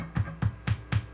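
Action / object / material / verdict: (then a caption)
tap / bass guitar pickup / unknown / live. A pickup on a Rickenbacker 4003S bass guitar being built up as a hot rod is tapped four times. Each tap comes through the amp as a dull, low thump around 100 Hz, showing this pickup is working.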